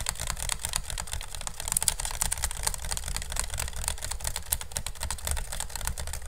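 A hollow, empty pink woven bamboo basket sits upside down over a microphone while fingernails rapidly tap and scratch across its woven strips. The result is a dense stream of sharp, dry clicks and bright scratchy rasps over a low, boomy body, with each tap dying away almost instantly.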